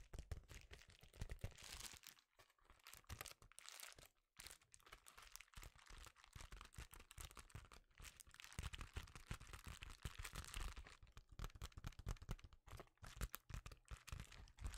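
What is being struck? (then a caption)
Metallic foil bubble-lined mailer. An empty, thin silver metallic foil bubble mailer is held up in both hands while fingertips scratch, press and crinkle the foil. The result is a dense, continuous stream of sharp crinkling and crackling with brief lulls near the two- and four-second marks.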